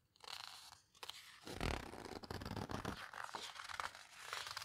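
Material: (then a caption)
Paper. Pages of an open paper photo book are flipped and squeezed flat by fingertips with long red nails. The result is a steady stream of dry, crinkling paper rustles and scrapes, with bursts of fuller crunching as the pages are pressed down.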